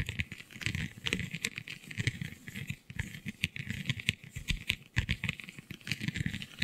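Long glittery nails scratch across a flexible, iridescent holographic vinyl sheet covered in raised scale-like bumps. The result is a dense, continuous patter of quick, dry clicks and rattling scrapes, with bright crackle up high and soft low thumps underneath. Each tick stops almost instantly.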